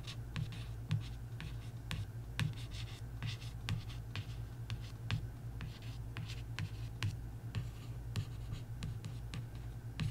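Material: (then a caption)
Coated paper. A single long nail traces and scratches the glossy surface of a paperback coloring book's cover, making dry, papery strokes. Short bright scratches sound over and over above a steady low hum, each stroke fading quickly.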